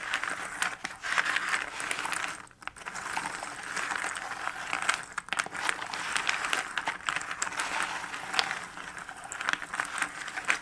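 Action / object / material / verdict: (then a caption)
scrape / cardboard jigsaw puzzle pieces in a box lid / cardboard / none. A flat hand and fingertips sweep, shuffle and rub small cardboard jigsaw puzzle pieces spread in a shallow cardboard box lid across the box bottom. The result is a steady, dry papery rustle full of tiny scratchy clicks, centered in the upper mids with a bright edge and almost no low end. It pauses briefly about two and a half seconds in and dips again near five seconds.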